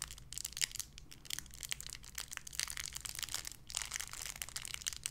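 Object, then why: Thin clear plastic bag. A small clear plastic bag wrapped around a small white figurine is crinkled and squeezed between fingertips with long red nails. Dense, bright crackling and rustling run continuously, with sharp bursts of crinkle over a faint steady low hum.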